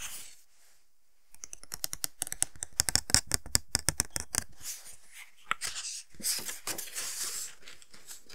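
Fingertips and nails tap and scratch a small, flat, rectangular paper greeting card envelope with a pink polka-dot pattern, held in both hands. After a quiet start, a rapid run of sharp, dry clicking taps is heard, followed by softer, bright rustling and scratching across the paper.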